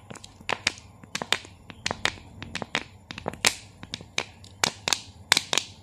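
A small clear plastic Nestlé Pure Life water bottle with a blue cap, hollow and partly filled with water, is held in both hands as fingertips squeeze and tap its thin crinkly walls. Sharp, bright crackling taps and crinkles come in an irregular series, each dying away almost instantly, over a quiet low background.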